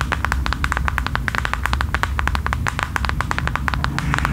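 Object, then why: Faux leather passport cover. Long nails rapidly tap and scratch a thin, flat, mint faux leather passport holder held up in the air. The result is a quick, steady stream of short, crisp ticks with bright edges that die away almost at once. A continuous low rumble runs underneath.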